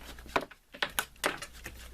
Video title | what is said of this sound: MYOG Tramontina Custom Sheath | I'm shaking the heck out of it, and the blade itself isn't moving.